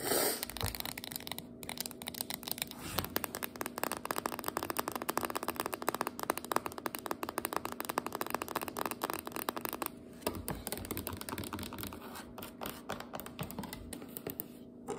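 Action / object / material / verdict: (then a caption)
tap / paperboard biscuit dough can with metal ends / paperboard / none. Long acrylic nails tap and scratch along a small, full, sealed refrigerated biscuit dough can lying on its side on a cutting board; the can has a paper label over a spiral-wound paperboard body and metal end caps. The nails run across both the body and the metal end, producing a dense, continuous stream of quick, dry clicks and scratchy crackles that stays steady for the whole clip.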